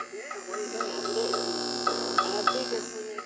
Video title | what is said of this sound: Vintage One Tube AM Detector Radio | If you tap the tube, you can hear the tube ring.